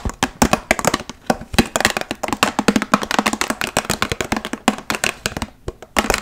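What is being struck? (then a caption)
Plastic water bottle. A large, clear, hollow plastic water bottle with a blue cap and label, partly filled, is tapped quickly with long nails fitted with metal paperclips. A rapid, uneven stream of short, dry clicking taps plays out, each bright and crisp with a faint hollow tone underneath, dying away almost instantly.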